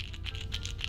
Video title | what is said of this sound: Try These 5 Baits To Catch Cold Water Bass In The Month Of January! | look at a different knock yeah it's got a different knock on that